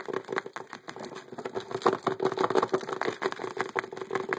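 A rectangular, transparent hard plastic (acrylic-like) case full of poker chips sits on a table and is tapped rapidly on its lid and edge with the fingertips and nails of both hands, worn with metal rings. The result is a fast, irregular stream of short, dry clicks and taps with a hollow plastic tone around 360 Hz and almost no low end. Each tap dies away almost instantly.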